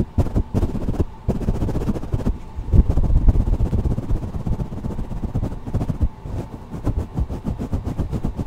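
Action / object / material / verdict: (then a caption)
scrape / foam microphone windscreen / foam / none. A black, soft porous foam windscreen on a blue microphone is rubbed and squeezed by the fingertips and palm of one hand. This produces a dense, muffled, bass-heavy rumbling and scratching with irregular crackling bursts and almost no high end. It continues unevenly for the whole clip, with a few brief dips.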